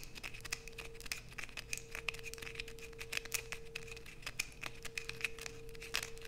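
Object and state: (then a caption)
Bar soap being scraped. Long nails aggressively scrape a solid light-blue bar of soap held in both hands, piling shavings below. Dense, rapid, bright scratching clicks and crackles fill the clip over a faint steady low-mid hum.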